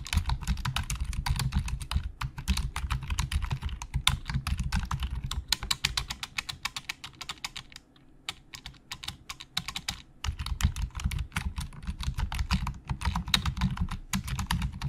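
Fingertips of both hands type fast on the hollow plastic keys of a black plastic Logitech full-size keyboard resting on a desk. It makes a dense stream of short, bright clicks over a low thumping body, easing into a sparser patter around the middle before quickening again.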